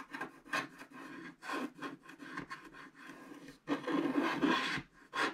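A wooden stylus scratches off the background of a black wax-coated scratch art card lying flat and solid, on the right side of the card. Repeated, irregular rasping scrapes build and fade, with a long, louder stretch of scratching near the end.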